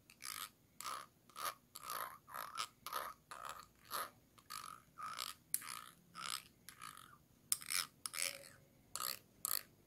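A thin tool scratches and scrapes the ridged base of a small, round, clear glass jar held upside down, hollow and empty. Short, bright, raspy strokes repeat at an uneven pace of about two per second, each with a hollow tone around 1 kHz and a high hiss, separated by near silence.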